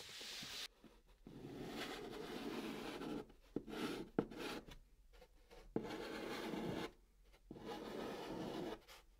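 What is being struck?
Chalk on a cardboard box.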